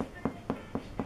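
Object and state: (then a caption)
Hollow-sounding spelt loaf, baked through. Four dull knocks on a hot spelt loaf held in a towel after an hour of baking, each a short, muffled, fairly hollow thud centered low around 250 Hz that dies away quickly. The hollow sound shows the bread is baked through.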